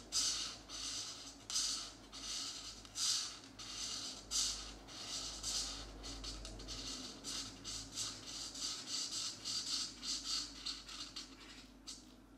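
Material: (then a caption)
Paper. A felt-tip marker held in the fingers rubs and scratches across a thin printed paper page of a geometric coloring book lying flat on a desk, filling in magenta shapes. Bright, airy scratching strokes repeat in an uneven rhythm, swelling and fading with each pass over a faint low hum.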